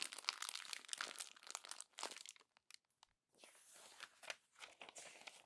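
Pages of an open glossy paper magazine are crumpled by hand, with long nails gripping the crinkled paper. Dense, bright crackling and crinkling fill the first two and a half seconds, then drop to a near-silent pause broken by a few faint ticks. Softer, hissy crinkling with occasional sharper crackles returns for the rest of the clip.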